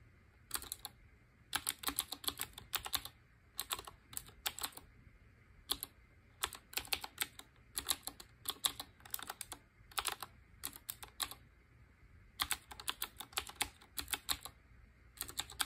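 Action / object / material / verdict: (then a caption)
tap / typewriter-style mechanical keyboard / plastic / none. Fingertips with short painted nails type rapidly on a black retro typewriter-style mechanical keyboard with round chrome-ringed keycaps. Bursts of sharp, bright, clacky keystrokes come in quick runs separated by short pauses, with a faint low hum underneath.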